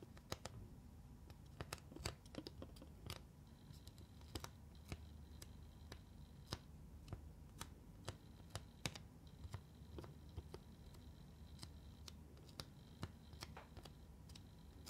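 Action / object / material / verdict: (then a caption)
tap / plastic makeup palette with pressed-powder pans / plastic / none. Fingertips and long nails tap on a flat black plastic eyeshadow palette and across its row of neon pressed-powder pans. Dozens of quick, dry clicks and taps sound at an irregular pace, each stopping almost at once, over a steady low hum. A faint high tone comes and goes in the background.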